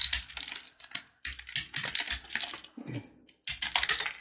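A box-cutter blade scrapes and carves a hand-held, solid, brittle jaggery candy bar made of yellow corn kernels bound with sugar. Irregular bursts of bright, crisp scraping and crackling come in quick clusters, separated by brief silences.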